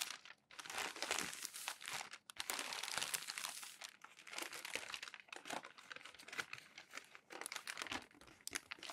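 Hands press, rub and fold crinkled glossy magazine sheets flat on the stack. Dense, bright crackling and crinkling runs almost continuously, with no low end and brief pauses near the start and around the two-second mark. Bursts swell and fade as the stiff pages are worked flat.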